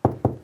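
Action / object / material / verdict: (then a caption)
tap / plasterboard wall / plasterboard / hollow. A plasterboard wall is tapped three times to check its type before chasing, giving dull, hollow knocks with a low body around 120 Hz and almost nothing high, each dying away quickly. The very hollow sound marks it as definitely a hollow plasterboard wall, such as board on timber framing or dot-and-dab board over masonry.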